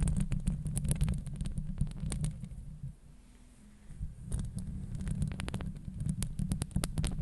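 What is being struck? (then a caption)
Steel mesh microphone grille. Long acrylic nails on one hand grip and scratch the hollow steel mesh grille of a Blue Yeti microphone. The result is a deep, throbbing rumble under rapid, irregular bright scratches and clicks. The sound drops to a quiet lull midway before the dense scratching resumes.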